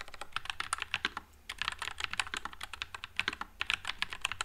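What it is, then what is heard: Mechanical keyboard with plastic keycaps. Continuous fingertip typing on a white low-profile Nuphy Air96 mechanical keyboard with Wisteria switches and plastic keycaps produces rapid, bright, clacky keystrokes that fade almost instantly. A brief pause falls near the middle before the quick typing resumes, with little low-end weight.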